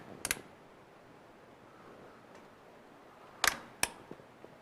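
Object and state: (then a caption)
CPU cooler push pins properly seated. Plastic push pins of a CPU cooler are pressed into the motherboard holes two at a time in an X pattern, giving a few sharp, bright clicks spread over several seconds with faint smaller ticks after the last one. The clicks mean the cooler is seated correctly, and a wiggle check shows no side is loose: it fits perfectly.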